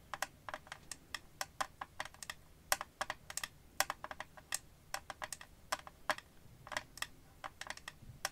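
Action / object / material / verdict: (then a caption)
tap / empty clear glass-and-plastic phone case / glass, plastic / none. Long painted nails quickly tap the clear back and edge of an empty, transparent glass-and-plastic phone case held in both hands. A rapid, uneven run of short, bright clicks sounds over a quiet background, each tap dying away almost instantly.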